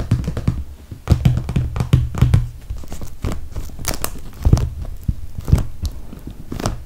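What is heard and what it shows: Long red fingernails tap and scratch along the top edge of a clear, soft PVC toiletry bag filled with cosmetics. Dull, low thumps mix with soft plastic crinkling and scratching, and a few sharp, bright clicks stand out. The result is a close, muffled run of quick taps that ring only briefly.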